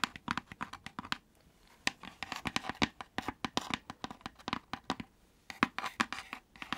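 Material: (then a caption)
Wood. Long nails and fingertips scratch and tap the thin wooden panels of a hollow, pointed hexagonal laser-cut wooden lantern box with a pierced floral fretwork pattern, lit from inside and held close to the mic. A rapid, uneven series of short, dry, bright clicks and scratchy taps with almost no low end or ring follows, with a brief pause near the start and another before the end.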